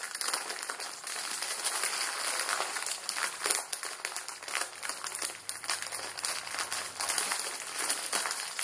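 A Maruchan instant ramen packet, plastic film holding a dry noodle block, is bent and squeezed in both hands. Its film crinkles and the noodles crunch in a steady stream of dense, bright crackles with no low end. Short sharp spikes stand out now and then.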